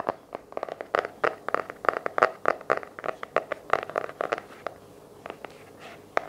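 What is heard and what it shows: Fingertips and nails tap and scratch the light blue patterned cardboard hardcover of a small paper journal held in both hands. About two dozen quick, dry, mid-pitched taps with no ring run in an uneven rhythm, then fade into soft scratching before one last sharp tap.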